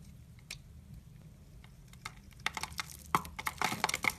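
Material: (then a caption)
Soap. A utility knife blade shaves and scrapes curls off a solid, brown-mauve rectangular bar of soap held in the hand, making repeated scraping cuts. After a quiet start with a few faint scrapes, the cuts come faster and louder as a run of crisp, bright, short scratchy strokes over a low background hum.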